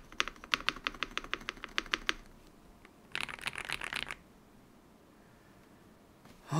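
A modded full-size Yunzii YZ98 mechanical keyboard with plastic keycaps is typed on by fingertips pressing and tapping the keys. About two seconds of sharp, bright, evenly spaced clicks is followed by a pause, then a denser, faster burst of clacks from about 3 to 4 seconds. After that it goes quiet, and a louder rising sound comes in at the very end.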